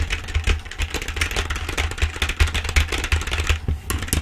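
Long acrylic nails type and tap fast on a black plastic full-size keyboard held upright. The result is a dense, irregular run of sharp, bright clicks over a steady low hum.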